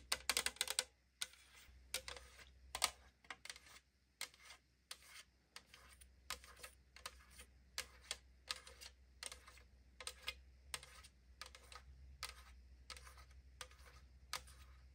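Long nails tap and scratch the side wall of a tall 500 ml aluminum drink can held in the hand, its hollow thin metal giving a rapid series of short, bright clicks and scrapes. Each tap dies away almost instantly, with a quieter scratchy texture and a faint steady low hum between them.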